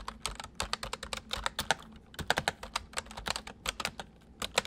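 Both hands type quickly with their fingertips on a full-size white plastic mechanical keyboard with white keycaps, resting on a wooden desk. A fast, uneven run of sharp, bright plastic clicks and clacks is heard, each cutting off almost at once, over a faint steady low hum.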